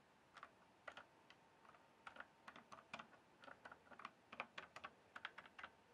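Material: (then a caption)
Plastic. Fingertips tap the keys of a full-size RGB backlit plastic mechanical keyboard with a hollow case. The result is an irregular run of quick, quiet clacks. Each stroke is a sharp, bright click that dies away almost instantly, with little low end.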